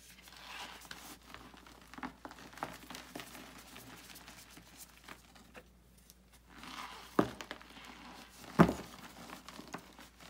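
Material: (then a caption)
Chalk. Bare hands crush and rub a solid pressed gym chalk block of magnesium carbonate into loose powder inside a white bucket, the chalk crumbling into dry flakes. Soft, uneven crinkling and crumbling carries on throughout, with two sharper crunches standing out near the end.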